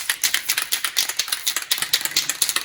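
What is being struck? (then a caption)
Metal aerosol spray can with mixing ball. A can of dry PTFE lubricant spray is shaken before being used on garage door roller bearings. Its mixing ball rattles in quick, sharp, bright clicks, about 22 of them in under three seconds. There is almost no low end, and each click dies away almost at once.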